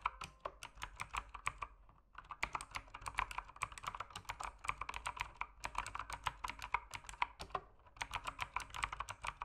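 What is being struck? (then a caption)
Mechanical keyboard with plastic keycaps. Fingertips type quickly and steadily on a backlit mechanical keyboard with plastic keycaps, producing dense, bright, crisp clacks centred around 1 kHz. The keystrokes are short, with almost no ring, and come in fast bursts separated by brief pauses near 2 seconds and again near 5.5 and 8 seconds.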